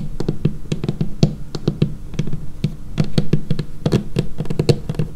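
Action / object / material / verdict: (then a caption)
tap / laminated wooden tabletop / laminated wood / none. Long painted fingernails of both hands tap rapidly on a large, flat, solid dark-brown laminated wooden tabletop, close up. The taps are short, dry knocks with a dull low body around 148 Hz and clicky nail edges, dying away almost at once.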